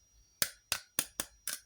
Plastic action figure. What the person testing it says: It's hollow plastic. So it doesn't have the same heft